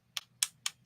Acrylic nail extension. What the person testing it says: when you are tap it on the surface of the nail, you hear that is like solid sound like this, it means it's ready for you to shape